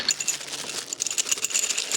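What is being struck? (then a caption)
Metal lighting parts in a box. Metal pathway light parts from a low-voltage 12-volt landscape lighting kit clink and rattle against each other in their box as it is unboxed. The sound is a rapid, bright series of thin, high-pitched metallic clinks with almost no low end and very short ring.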